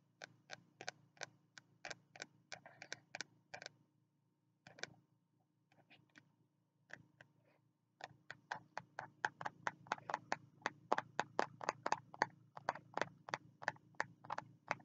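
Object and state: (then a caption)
Spiral notebook with card cover. Fingertips tap the green card cover of a small spiral notebook held in both hands, making quick, dry, ticking taps with a faint low hum underneath. The taps come in fast runs, thin out to a few scattered hits in the middle, then return as a steady rapid stream, about 44 taps in all.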